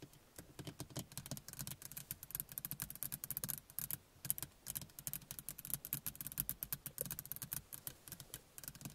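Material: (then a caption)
Plastic, glass. Two hands tap and scratch a small interior car rearview mirror, which has a plastic frame and glass face and is mounted on the windshield, using long painted fingernails. The result is a dense, rapid stream of dry, bright clicks, each dying away almost instantly, over a soft low thud.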